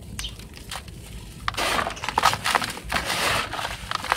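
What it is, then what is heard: Dry sand being rubbed in a plastic tub. Both hands press, scratch and rub with fingertips and palms across loose, dry, dark sand or soil filling a large teal plastic tub, with no chunks being broken. Faint, scattered scratches give way after about a second and a half to louder, gritty crunching swells with a bright, hissy texture.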